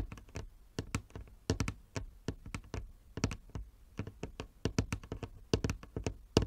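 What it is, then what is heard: Wooden chess board, nail tapping. Fingernails tap on a wooden chess board, giving a quick, uneven run of short, sharp knocks. Each tap is a dry click over a low thump and dies away almost at once.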